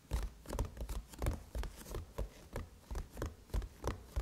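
Long chrome nails rub and scratch over the brushed metal surface of a closed silver aluminum MacBook lid. The clip is a quiet, uneven run of short scratching strokes, about three per second, each a dull, low-heavy rasp with a faint bright edge that stops almost at once.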